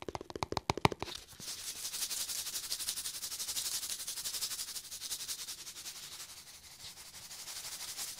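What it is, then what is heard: Cardboard snack tube. Fingertips scratch and rub along the side of a small red cardboard Pringles tube held close to the mic. A burst of sharp, separate clicks in the first second gives way to a steady, rapid, bright scratching texture that swells and fades gently to the end.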